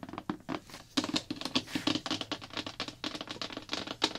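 Long black-polished nails and fingertips rapidly tap and scratch the printed blue plastic lid of a large hollow slime bucket. The result is a quick, uneven run of dry, short clicks with a hollow low-mid body and bright, scratchy edges, each dying away almost instantly.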